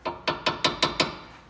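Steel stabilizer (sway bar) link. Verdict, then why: Loose. Six sharp, bright metallic taps on the loose steel front stabilizer (sway bar) link of a 2011 Honda Pilot, each a quick rattling clack with a short ring. The rattle essentially matches the front-end rattle complaint, and the links were replaced on both sides.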